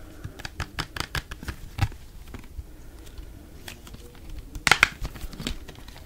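A small, hollow orange plastic bottle with a white cap and blue label, held close to the mic, is tapped rapidly with fingertips and nails. Short, dry, bright clicks and taps come in quick bursts, pause briefly in the middle, then return with a louder cluster near the end.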